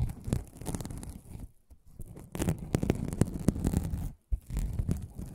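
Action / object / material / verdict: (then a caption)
scrape / aluminum mesh scrubbing pad / aluminum mesh / none. A flat, palm-sized pad of silver aluminum mesh, an aluminum scrubbing sponge, is held close to the microphone, scratched and rubbed with fingertips and nails, and flexed and turned in the hands. It gives a dense, irregular crackling scratch with sharp rustling clicks over a soft, low-heavy body. The sound pauses briefly twice before resuming.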